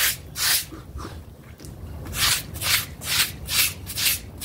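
A small, flat, blue synthetic-fiber doormat with a frog face, dirty and damp and lying on a plastic sheet, is held with one hand and scrubbed back and forth with a stiff-bristled pink plastic brush. Each stroke gives a bright, hissy scratching swish, and about seven strokes come at an uneven rhythm with quieter pauses between them.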